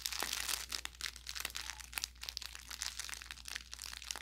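An orange velour plush carrot cat toy with crinkle filling is squeezed and pressed with the thumb and fingers. It gives off a steady stream of bright, dry crinkling and crackling with sharp snapping pops, over a faint, steady low hum.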